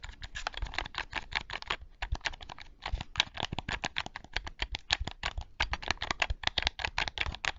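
Fingertips and nails rapidly tap and click the buttons of a black Sony PlayStation controller with a hollow hard plastic shell, held in both hands close to the microphone. The result is a dense stream of short, dry, bright plastic clicks with a little low thump beneath, broken by brief pauses around two and nearly three seconds in.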